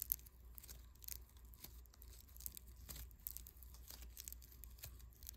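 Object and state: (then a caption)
Foam bead clay. A small lump of unpackaged yellow foam clay made of tiny polystyrene beads, soft and solid, is kneaded, pressed and rubbed between bare fingertips. It makes a quiet, continuous crunchy crackle of many fine, short bright ticks and rustles over a steady low hum.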